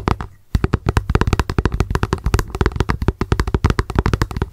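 Long acrylic nails tap rapidly on the translucent base of a small, hollow plastic lunch box turned upside down. After a brief pause near the start, about 31 quick, dry clicks follow, each with a hollow low thump and almost no ring.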